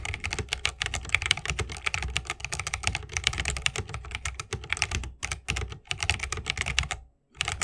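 Both hands type continuously with their fingertips on a 60% mechanical keyboard with Holy Panda switches, a bamboo case and plastic keycaps. The result is a rapid, steady stream of short, crisp clacks, bright on top with a soft low thud beneath each key. The flow breaks briefly around five seconds and falls silent just after seven seconds before the typing resumes.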